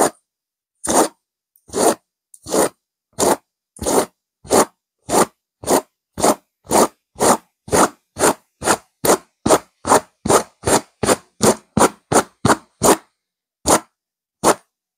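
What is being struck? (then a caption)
Velvet-covered stuffed cushion. Long nails of both hands, fingers interlacing over the fabric, scratch a stuffed pillow with a purple velvet cover and a silver diamond pattern. About 24 short, dry, bright scratching strokes come one after another with brief silences between them. The strokes start spaced out, grow quicker and steadier, then end with a couple of slower strokes.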